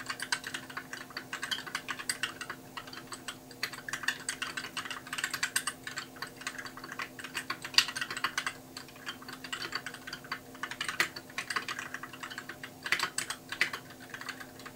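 Fingertips of both hands type continuously on a compact white mechanical keyboard with plastic keycaps. The result is a steady stream of quick, bright, clacky key clicks with short decays and occasional louder strikes, over a faint constant low hum.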